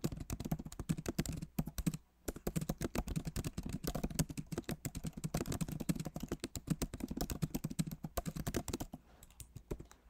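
A backlit MacBook Pro Magic Keyboard, with plastic keycaps set in an aluminum body, is typed on rapidly with the fingertips of both hands. Dense, short, dull clicks run almost continuously for about ten seconds, with brief pauses near 2 seconds and toward the end. The sound has a low, soft body and little high brightness.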